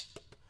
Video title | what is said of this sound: Livestream // January 24th, 2024 | usually these are plastic this is metal metal